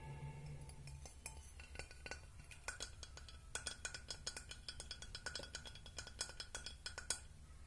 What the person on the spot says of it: Agora, som de vidro, que adoro.